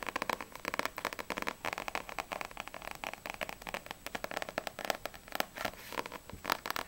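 Long acrylic nails tap rapidly on the front and back of a small, solid paperback manga book, Blue Exorcist volume 1, with a glossy paper cover. The result is a dense, continuous stream of crisp, dry clicking taps with a bright, papery tone and almost no low end. Each tap stops almost instantly, with no ring.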